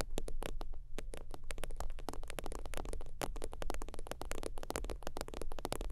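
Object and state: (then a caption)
Faux-leather zip wallet. Long teal nails rapidly tap and scratch a holographic synthetic-leather zip wallet lying flat, making a dense run of short, sharp clicks with bright edges. A steady low hum sits underneath throughout.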